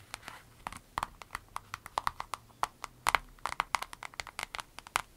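Long red nails squeeze, scratch and crinkle a small, clear vinyl zip pouch with an avocado print, hollow with items inside. The result is a rapid, irregular run of sharp, dry crackling taps with a bright, papery edge, a tonal glint around 1.1 kHz and almost no low end, each click dying away at once.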